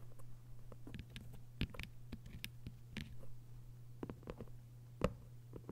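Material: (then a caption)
Paper. Long white nails tap on the cover of a thick hardcover novel with a paper dust jacket and scratch along its edges. Quiet, short, dry taps and brief bright scratches sound irregularly over a steady low hum, with one sharper tap near the end.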